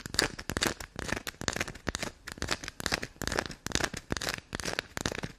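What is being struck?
Small bar of black soap.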